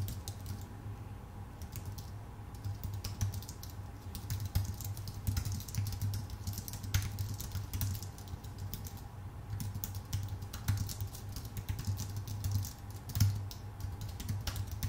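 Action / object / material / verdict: tap / low-profile keyboard with plastic keycaps on an aluminum body / plastic, aluminum / none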